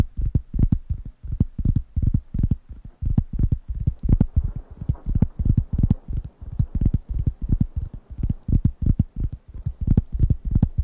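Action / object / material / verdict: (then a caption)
tap / thin round wooden coaster pad / wood / none. Fingertips tap and scratch the surface of a large, thin, round, light-brown wooden coaster pad, solid and flat, held in one hand close to the microphones. The result is a long run of quick, dull, low thuds in irregular bursts, each dying almost instantly, with a faint soft scratching between them and no bright ring.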